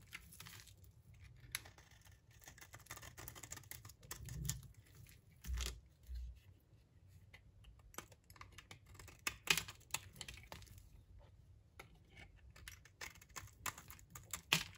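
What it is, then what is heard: Dry bar soap scraped with a blade. A utility knife blade scrapes along the surface of a solid, dry olive-brown bar of soap held in the hand. The result is quiet, dry, crackly scraping and tearing sounds, mostly bright and high, with irregular sharp scratches and a few dull low thumps around the middle.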